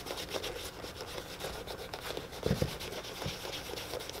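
A tan leather boot is held in one hand and rubbed with a cloth by the other, giving a steady, hollow rubbing and scratching texture with bright high hiss. A couple of louder, thumpier strokes stand out near the middle before the rubbing settles back to an even rhythm.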